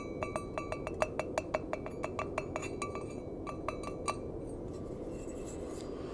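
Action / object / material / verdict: tap / stainless steel mug / stainless steel / none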